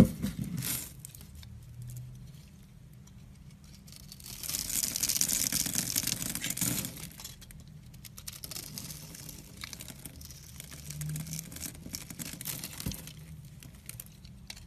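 A metal blade scrapes, scores and cuts into the surface of a solid rectangular red-pink bar of soap held in the hand. Soft, dry crinkling and scraping sounds swell into a louder, bright, hissing shave in the middle. They then fall back to quieter, steady scraping with a low hum underneath.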